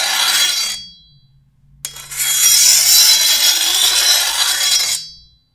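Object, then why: Steel machete blade. A long, thin solid steel machete blade, held by the handle, is filed along its edge with a metal file stroked by hand. Two bright, hissing scrapes are heard: a short one, then a pause, then a longer stroke that starts with a sharp catch. Faint high metallic ringing fades out after each stroke.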